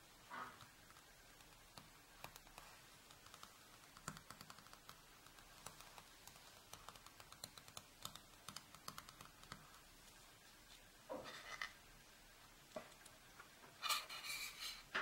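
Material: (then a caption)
Paper. Long pink nails tap rapidly on the printed glossy paper cover of an A4 sketch pad lying flat on a table. Quick, light, dry clicks patter across the clip with a bright edge, centered around 1.2 kHz. Two louder, scratchier bursts come near 11 seconds and again near 14 seconds.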